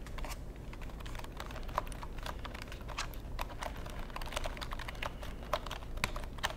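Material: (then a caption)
Plastic. A long black plastic computer keyboard is held edge-on in front of the microphone while fingertips type and tap on its keys and casing. Rapid, dry plastic clicks with bright edges and a 1 kHz tone cut off almost instantly over a steady low hum.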